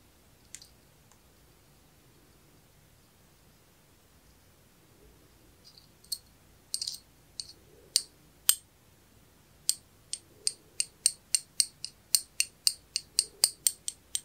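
A thin metal pick taps and clicks on the plate and parts of a small, solid, round antique brass pocket watch movement held in both hands. A few sparse, faint clicks give way to a steady run of about two dozen sharp, bright, high-pitched metallic taps that stop almost instantly with no ring.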